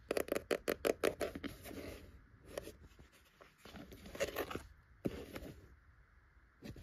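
Long acrylic nails and fingertips tap and scratch across the cover of a solid, closed old maroon cloth-bound hardcover book lying flat on top of a row of books on a wooden shelf. A fast run of sharp, dry taps with a mid-pitched knock gives way to softer, rasping scratches across the cloth, with a few more taps scattered between them. Each hit dies away almost at once, with no ring.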